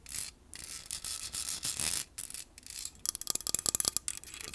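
Long painted nails scratch and rub across the rounded, hollow metal mesh grille of a large black Blue Yeti-style USB microphone on a stand, picked up by a separate earbud mic. Bright, hissy scraping comes in sustained strokes with short pauses, then turns into a quick run of sharp, crisp tapping scratches near the end.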